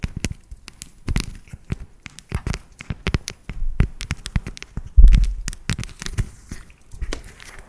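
Long nails tap and scratch a solid, segmented dark chocolate bar held close to the mic. A rapid, uneven series of short, dry clicks and taps sounds close and full in the low end, with faint scratchy rustles between them and one heavier knock partway through.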